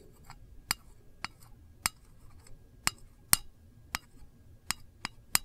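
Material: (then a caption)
Tin-plated steel. A single long nail taps the lid of a small, hollow, round printed metal candle tin. Nine sharp, bright clicks, spaced irregularly, each fade almost instantly with a thin metallic tick and little low end.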